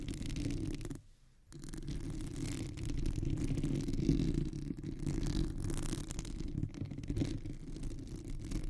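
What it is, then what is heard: Textured silicone microphone cover. Long manicured nails of both hands scratch and tap a white, textured, perforated silicone cover on a microphone. The result is a dense, steady, low rustling scratch with quick tapping that stops briefly at about one second, then continues.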